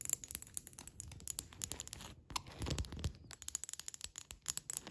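Long red acrylic nails tap and scratch across a solid sheet of flat beige hexagonal ceramic tiles wrapped in clear cling film. Dense, rapid clicks and crinkly scraping fill the high end, with a brief pause before a louder, rumbling scratch.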